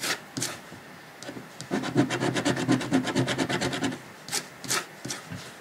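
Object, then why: Paper scratch-off ticket scratched with a coin. A coin scratches the latex coating of a thin, flat $30 paper lottery scratch-off ticket lying on a dark cloth while fingers hold the ticket. A few scattered scrapes lead into a fast, rhythmic run of dry, raspy scratching strokes, followed by a couple of sharper, bright strokes and quieter rubbing at the end.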